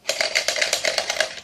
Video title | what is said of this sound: BJ매직키드s 동전 관통 마술(이 마술의 이름을 지어 주세요) | 안에 외국 동전을 넣어 왔어요 자 흔들어 보면 소리가 나겠죠 이렇게요